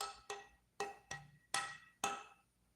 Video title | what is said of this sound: TBGB IT WORKS 💪 | I don't know if you can hear that resonance.